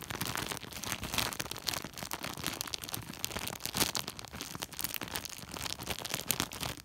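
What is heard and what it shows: Fingertips scratch and a flat hand rubs a large white woven polypropylene plastic sack. The result is a dense, fast run of bright, crinkly scratching and rustling, with short crackly bursts and little low end throughout.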